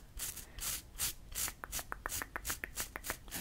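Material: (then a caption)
Plastic. Long fingernails scratch and rub across the stiff bristle patch of a solid, handheld grey plastic brush or massage tool, held close to the mic. Broad, hissy rubbing strokes give way to a quick, uneven run of sharp, bright bristle ticks with a faint ringing tone near 1.8 kHz.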